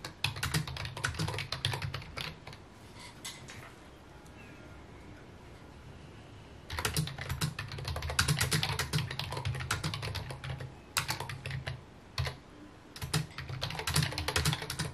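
Fingertips type on a full-size white plastic keyboard with mint keycaps resting on a wooden desk. Bursts of quick, irregular key taps pair a low thud with bright, short clacks. A quiet pause of about three seconds falls near the middle, and a shorter break comes near the end.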